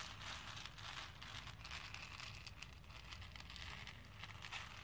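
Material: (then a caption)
Plastic. A hand with dark-painted, medium-length nails stirs and rubs through a pink plastic bowl full of small cream and pink plastic faux pearl beads. The beads make a steady, dense, bright clatter and crackle with no distinct pauses, over a low rumble underneath.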